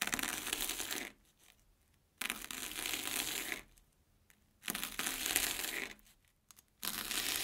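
A steel kitchen knife finely chops crunchy, airy Banana Kick corn puffs on an orange plastic board. Four bursts of dense, bright, rapid crunching are separated by short near-silent pauses, with little low end and only a brief ring after each cut.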